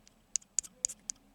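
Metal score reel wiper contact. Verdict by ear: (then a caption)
Loose. The metal wiper on the tens score reel of a Chicago Coin Gunsmoke pinball machine ticks and taps as the reel moves during cleaning, giving five sharp, bright, high-pitched clicks with faint softer taps between them. The sound is faulty: the wiper is not touching the contact board, so the line is broken.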